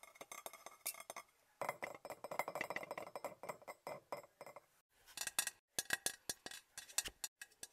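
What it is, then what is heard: Glass object tapped. A glass object is tapped quickly and repeatedly, giving a long run of short, bright clinks and chinks with almost no ring. The taps come in dense clusters separated by brief pauses, with little low end and a tone centered near 1.6 kHz.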